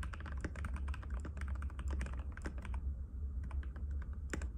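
A compact cream-white mechanical keyboard with plastic keycaps and a hollow case, resting on a glass table, is typed on continuously with the fingertips of both hands. Rapid, bright clicky taps run over a steady low hum, with a brief lull near the three-second mark before the typing picks back up.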